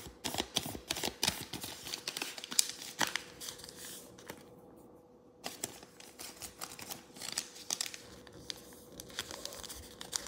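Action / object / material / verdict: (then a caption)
scrape / thin origami paper sheet / paper / none. Fingertips and thumbs crease and rub the folds of a thin square sheet of yellow origami paper, partly folded into a crane base and resting on a wooden table. Quick, crisp crinkles and dry rubbing sounds come in a dense, bright stream over a faint steady hum, with a brief near-silent pause around the middle before the creasing picks up again.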